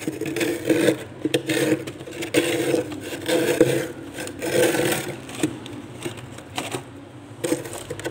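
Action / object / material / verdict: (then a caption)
scrape / frost in a freezer scraped with a stainless steel cup / ice / none. A stainless steel tumbler held in the fingers rubs and scrapes across a thick layer of frost on the inner wall of a freezer. Rough, rasping strokes come in uneven bursts about once a second, each with a gritty, bright hiss over a hollow tone near 500 Hz.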